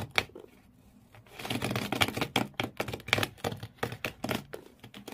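Medium-length fingernails on both hands scratch hard at the corrugated cardboard floor inside an empty blue cardboard shoe box. A sharp scrape and a brief quiet pause lead into a rapid run of rough, bright, rasping scratches that rise and fall in short bursts.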